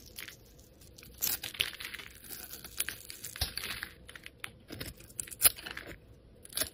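A metal utility blade scrapes across a solid grey soap bar held in the hand, shaving flakes off it. The sound is a series of dry, crisp, bright scrapes and short crackling bursts with quiet gaps between strokes.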